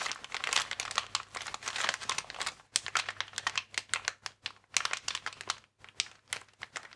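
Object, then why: Inflated plastic air-column packaging bag. A transparent, air-filled plastic air column cushion bag with vertical air columns is squeezed and rubbed with fingertips. It gives off dense, bright crinkling with sharp crackles that come in quick bursts and brief pauses.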